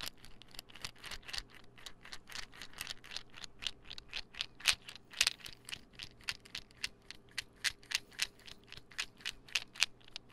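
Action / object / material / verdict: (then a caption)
tap / small plastic pill bottle / plastic / none. A small white plastic pill bottle with a gold label, cap on, is held in one hand and tapped and scratched with fingernails. It makes a quick, uneven run of about 38 sharp, bright clicks with almost no ring, over a faint low hum.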